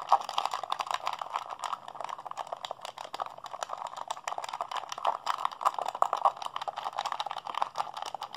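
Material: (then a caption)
Plastic. A hollow blue plastic PlayStation 3 handheld controller is held in both hands while fingertips and thumbs rapidly mash its buttons. A dense, fast clatter of short, dry plastic clicks centers in the midrange around 800 Hz to 1 kHz, with no low end and only a little bright edge.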